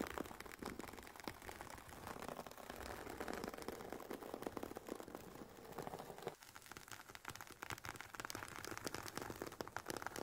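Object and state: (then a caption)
Fabric-covered hard headphone case. Long painted nails tap and scratch the woven nylon fabric cover of an oval, semi-rigid, hollow carry case for Sony WH-1000XM4 headphones resting on a fluffy mat. The result is a quiet, steady stream of short, dry, crinkly taps and scrapes centered in the midrange. The activity dips briefly just past the six-second mark before picking back up.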